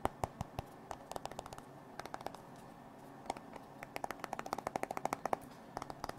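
A hand-sized, solid modern smartphone with a glass screen and metal frame is held in the hands and tapped with fingertips and nails on the screen and edges. About thirty-three quick, dry, clicky taps come in irregular clusters, with a short pause in the middle. Each tap is quiet and bright, with a faint tone near 760 Hz that dies away almost instantly.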